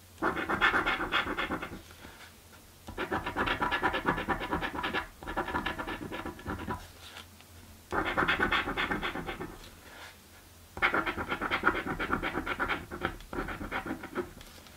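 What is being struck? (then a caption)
Paper scratch-off ticket scratched with a coin. A coin scratches across a thin, flat, purple cardboard scratch-off lottery ticket in rapid, rasping strokes. The scratching comes in bursts separated by short pauses, with a steady low hum underneath.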